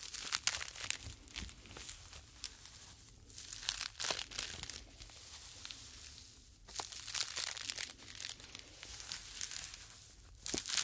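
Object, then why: Polyethylene foam mesh fruit sleeve. Two small, light, hollow white polyethylene foam fruit net sleeves are held one in each hand close to the ear and squeezed and rubbed with the fingers. They make a bright, dry crinkling and crackling that comes in dense bursts with short quieter gaps in between. The sound is mostly high-pitched with very little low end.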